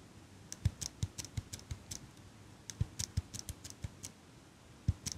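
Fingers with long nails repeatedly squeeze and release the handles of a small metal eyelash curler held close by. About twenty short, dry metallic clicks are heard, each with a soft low thump and a bright tick that dies away almost instantly. The clicks come in irregular bursts with brief pauses in between.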